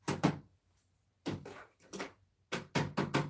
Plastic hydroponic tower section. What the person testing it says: I can hear it snap when I tap it.